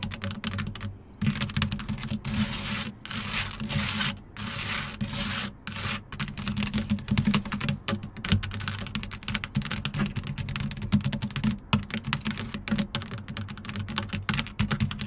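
Long acrylic nails tap quickly with both hands on the black, textured, hexagon-patterned plastic/rubber running board side step of a Jeep, a long step that is solid over a hollow frame. The result is a fast, dense stream of sharp clicks over a low, hollow thud, with short bursts of continuous rasping between the taps.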